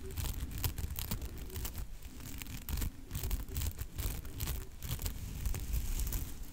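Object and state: Fuzzy fur microphone windscreen being scratched.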